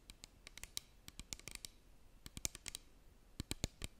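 Long green nails tap and scratch a small clear plastic bottle with a cap and white label, partly filled with liquid, held close to the microphone. A quick, irregular series of short, sharp clicks and scratches, bright and crisp, each dying away almost instantly against a quiet background.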